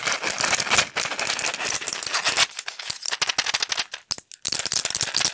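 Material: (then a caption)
Plastic, foil. Fingertips and nails rapidly tap, scratch and crinkle a small, flat blister pack of pills, with plastic bubbles on a foil backing, held in the hands close to the microphone. The result is a dense, bright, crackling rattle of quick, dry clicks with almost no low end. Near the four-second mark it breaks into sparser taps and brief silences, then resumes at full intensity.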